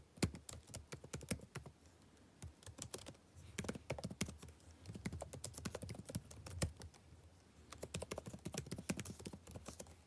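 Fingertips of one hand type fast on a backlit laptop keyboard with plastic keys. The result is rapid bursts of sharp, dry clicks and taps with short pauses between runs. Each tap has a low thud and a bright click that stops almost at once.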